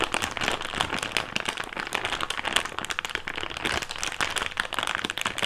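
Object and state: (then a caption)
Thick clear plastic bag. An empty thick clear plastic bag is crinkled and pinched between fingertips over a table. It gives a steady run of sharp, bright crackles and rustles that die away almost instantly, with little low end.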